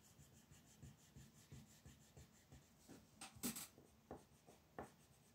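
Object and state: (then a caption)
Colored pencil on paper. A wooden colored pencil steadily rubs and scratches across a flat white paper mandala coloring sheet resting on a table while coloring. Quiet, soft strokes repeat in an irregular rhythm, with a few sharper, brighter scratches toward the end. The scratches are short and dry, fading almost immediately.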